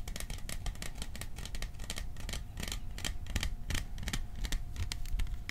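Fingertips tap rapidly on the sides of a hollow, cylindrical printed metal popcorn tin held in both hands. The taps make quick, bright, tinny clicks that die away almost at once, over a dull low rumble and a faint steady tone. The tapping stays dense and fairly even throughout.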